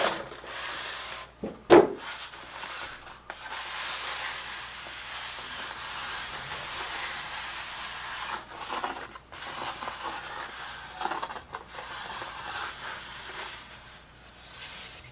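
Fingertips and palms rub and slide across the surface and edges of a large, flat, white expanded polystyrene (styrofoam) tray lid with an embossed logo, lying on a dark cloth. The result is a steady, airy, hissing rub that is bright in tone and nearly free of low end. A sharp squeaky scrape stands out near the start, and a few brief catches and short pauses break up the continuous sliding.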